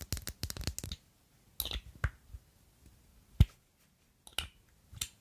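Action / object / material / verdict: tap / faceted glass perfume bottle / glass / none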